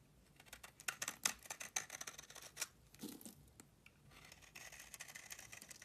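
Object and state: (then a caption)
Bar of soap being carved. A metal blade scrapes flakes off the cut face of a solid tan bar of soap that has been partly carved. The result is a run of quick, dry, crisp scraping strokes with a bright, hissy edge. A slightly duller, lower scrape comes near the middle, and softer continuous shaving follows toward the end.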